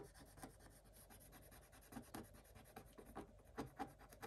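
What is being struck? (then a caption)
Coated scratch-art paper and wooden stylus. A thin wooden stylus rubs and scratches the black coating off a scratch-art paper page, revealing colored foil underneath. It makes a quiet, dry, rasping scrape with short, irregular strokes, some louder than others.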